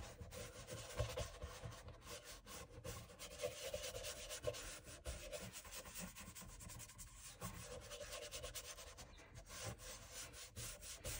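A small bristle dauber brush scrubs cream into the solid leather outsole of a loafer held upside down in one hand, using circular and back-and-forth strokes. The result is a steady, soft, scratchy rubbing with a dry bristly hiss that reaches into the high range. Brief louder scuffs rise above the quiet, continuous brushing.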